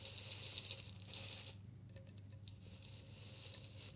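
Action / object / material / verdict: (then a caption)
shake / glass bottle with salt / glass / none. A clear glass bottle with a green label, partly filled with pink salt, is tilted and shaken by hand. The grains give a bright, gritty rattling hiss that is densest in the first second and a half, then thins to softer, scattered ticks and rustles. A steady low hum sits underneath throughout.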